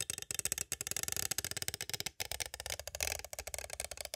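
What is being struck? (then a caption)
Plastic cassette tape case. A small hollow clear plastic cassette tape case with a paper insert, held upright, is tapped from both sides with two green striped plastic stick tools. A rapid, steady run of dry, bright, clicky taps follows, each one short with almost no ring.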